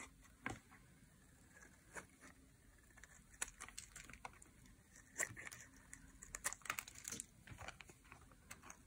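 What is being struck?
Bar of soap scraped with a metal blade.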